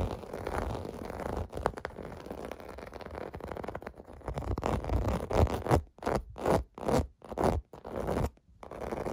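Fingertips and nails scratch across a large, clear blue plastic bubble bath mat with raised round domes, lying on carpet. A dense, continuous dry scratching and rubbing comes first, then it breaks into a series of separate, rhythmic scraping strokes before the steady scratching resumes. The sound is muffled and low-to-mid heavy, with almost no bright top end.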